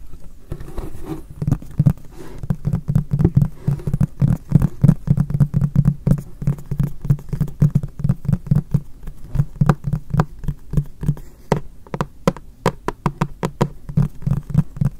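Fingertips of both hands tap the flat face of a hollow, apparently empty frosted white MUJI polypropylene storage box held behind the recorder. A long run of quick, irregular taps produces dull, hollow low thuds with a faint tone near 190 Hz and a thin clicky edge. Each tap dies away almost instantly.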